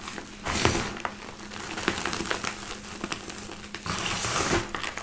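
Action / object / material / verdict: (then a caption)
scrape / crushed gym chalk powder / chalk / none. Both hands scoop, squeeze and rub a heap of crushed white gym chalk powder in a black bowl between palms and fingers. Soft, dry crunching and crinkling crackles rise and fall in gritty bursts with bright, hissy texture.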